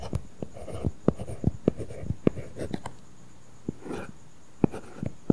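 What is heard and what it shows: A stylus tip writes letters on an iPad's flat glass screen covered with a matte, paper-feel plastic film. Fourteen sharp, dry tip taps stand out among soft, low scratchy strokes, with a quiet pause near the middle. Each tap dies away almost instantly.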